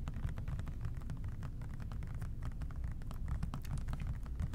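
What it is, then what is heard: Plastic spray cleaner bottle. A hollow plastic OxiClean spray cleaner bottle with a white trigger top, held in both hands, is tapped with the fingertips. It gives rapid, soft, dull hollow taps with short clicky edges over a steady low rumble. The taps run continuously with no ring after each one.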